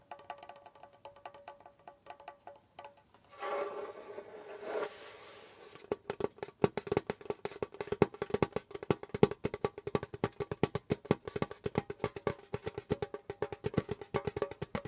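Curled fingertips tap quickly across the skin head of a hollow djembe drum with a wooden shell. Soft, sparse taps give way to two brief broadband scraping bursts, then a dense run of dozens of quick, dry taps with a hollow tone around 414 Hz that die away almost instantly.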